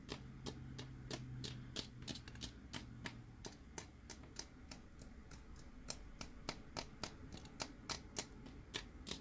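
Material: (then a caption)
Plastic. Fingernails tap the body and head of a hollow white and orange plastic BB-8 sipper cup with a straw, held in the hand. About 30 short, dry, clicky taps come at an uneven pace, each dying away almost at once over a faint low background hum.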